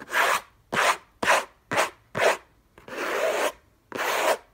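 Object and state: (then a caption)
Cardboard box scratched. Fingertips and short nails scratch the lid of a closed, long rectangular orange Hermès cardboard box covered in textured paper, contents unknown, lying on a fluffy blanket. Seven dry, rasping scratch strokes come at an uneven pace, each a bright, hissy burst with no low end. The sixth stroke is drawn out longer than the rest.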